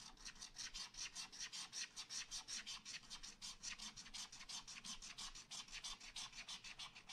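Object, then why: Wax-coated scratch art paper scratched with a wooden stylus. A wooden stylus scratches fast hatching strokes into a black wax-coated scratch art paper page in a spiral pad. About forty quick, dry, bright rasping strokes follow one another in a steady back-and-forth rhythm, each stopping short with no ring.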